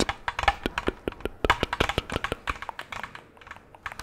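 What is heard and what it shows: Long gloved nails tap rapidly on an empty, hollow orange plastic jack-o'-lantern candy bucket with a handle, producing about two dozen quick, dry clicks and light thunks. Each tap is short and bright with almost no ring, fading to softer taps near the end.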